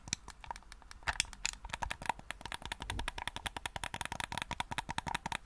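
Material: Plastic.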